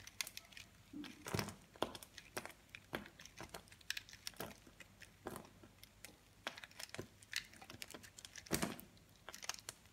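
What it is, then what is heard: Soap bar being shaved with a blade. A utility knife blade scrapes and shaves crumbly flakes off a hand-held round solid soap bar made of pressed multicolored soap chunks. The result is a rapid stream of dry, crisp scratching and crinkly crunching clicks, bright and quiet, each cut ending almost at once. A few louder, fuller scrapes stand out among them.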